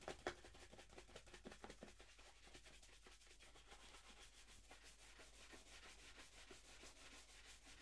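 A hollow, empty black leather dress shoe held in hand has its leather upper buffed with fast strokes of a wooden-handled horsehair brush. Rapid, rhythmic bristly swishes carry a bright hiss over a steady low hum, with a few sharper strokes at the start before settling into an even brushing pattern.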